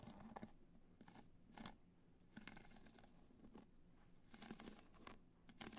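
Long nails scratch across a black, hollow hard-shell clutch covered in multicolor rhinestones that rests on white fur. The result is a run of dry, crackly scratching bursts with a bright, gritty edge over a faint low hum.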